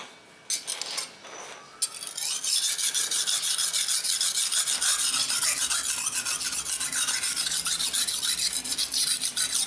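A steel kitchen knife is rubbed at an angle along a dark grey rectangular whetstone under fingertip pressure, sharpening it with a scrape. After a few soft, scattered scrapes, a steady run of quick, bright, high-pitched rasping strokes follows at about three per second until the end.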